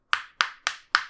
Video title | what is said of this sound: Test du HTC 10 - W38 | quand vous tapez dessus ça sonne creux